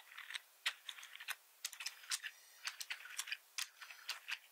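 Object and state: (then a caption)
Plastic computer keyboard. Fingertips of one hand type and tap across a black plastic full-size membrane keyboard with red accent keys and a hollow plastic body, lying on a wooden desk, while the other hand stays off the keys. Quiet, bright, clicky keystrokes come in irregular bursts with almost no low end. Each tap dies away almost instantly.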